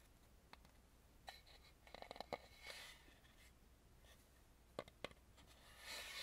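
A hollow, face-sized Balinese carved wooden mask, painted red with gold trim, is held in both hands while fingertips and nails rub and tap its front surface. Quiet, dry, scratchy rubbing is broken by short, sharp clicking taps, some in quick clusters, with a bright brushing hiss swelling toward the end.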